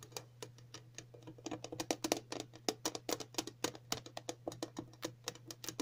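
Several long natural nails tap across the lid of a round, flat, printed metal tin for a dog flea collar; the hollow tin is lying on a table. A rapid, irregular series of short, bright clicks rings only briefly, over a faint steady low hum.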